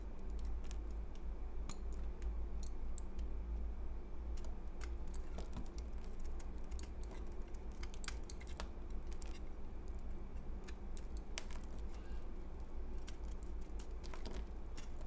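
A utility knife blade scrapes a solid, porous, crumbly piece of pale green dried soap held in the fingers. Quick, sharp, dry scratches and crackling ticks come in a steady stream over a constant low hum.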